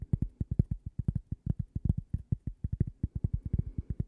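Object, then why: Thin cork coaster tapped with fingernails. Long glittery purple nails rapidly tap and scratch a thin, solid, toast-shaped cork coaster with a logo, held close. About 32 quick, dull, low-pitched taps sound in a steady stream, each dying away almost instantly with no ring.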